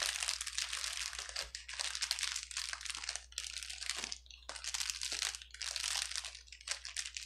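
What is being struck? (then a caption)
Plastic bubble wrap sheet. A clear plastic bubble wrap sheet on a table is pinched and pressed with the fingertips of both hands. It gives dense, bright crinkling and popping in bursts, with brief quiet gaps between them. Each crackle is sharp and dies away almost at once, with almost no low end.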